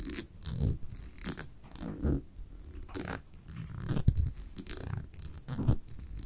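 Long nails scratch along the white label and glass surface of a small brown amber glass cosmetic jar held up close. The result is an irregular run of dry, raspy scratching strokes with bright hissy edges over soft, low thumps, in quick bursts with brief pauses.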